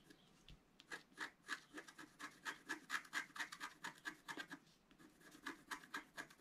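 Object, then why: Coated scratch-art paper and wooden stylus. A thin, roughly A4 sheet of coated scratch-art paper lies flat on a white table and is scratched with a pointed wooden stylus held in the fingertips while the other hand steadies the sheet. The result is a quiet series of short, dry scratching strokes at a quick, uneven rhythm of about two per second. Each stroke carries a faint squeaky tone near 1.7 kHz over a bright, raspy hiss.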